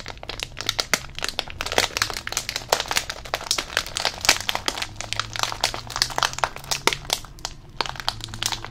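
A hand-sized green Rizadas chip bag made of plastic foil and full of chips is squeezed and crinkled with the fingers close to the microphone. It gives a steady stream of dense, bright crackles and crinkles, with sharp dry snaps that stop instantly and very little low end.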